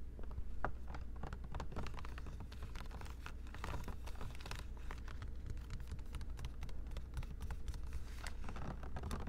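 Long pink acrylic nails rapidly tap and scratch a clear plastic Poland Spring water bottle, hollow and largely filled with water, held in one hand while a mini microphone is held close by to record. Quick, dense clicks and scratchy crinkles run throughout over a steady low hum.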